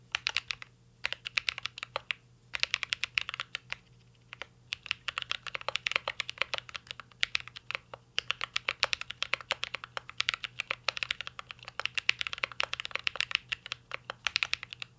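Fingertips of both hands type on a full-size CYBERBOARD R3 mechanical keyboard with an aluminum case, plastic keycaps and Holy Panda switches. The result is a rapid, steady stream of short, crisp, bright keystroke clacks with very little ring, broken by a few brief pauses, over a faint low background hum.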